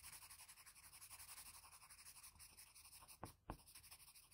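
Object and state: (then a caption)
Pencil scratching on drawing paper. A blue wooden graphite pencil, held in the fingers, makes short, rapid scratching strokes around the eye of a graphite portrait on a flat sheet of drawing paper. It gives a steady, bright, papery scratching rhythm of about four strokes per second. Near the end, two sharper, louder ticks break the pattern before the scratching resumes.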